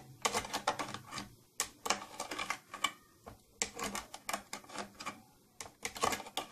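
Long nails tap rapidly on the side and silver plastic trim of an old, closed, hollow round purple plastic tattoo kit case. The result is bursts of dry, bright, clicky taps with very short ring, separated by brief pauses, sounding much like a typewriter.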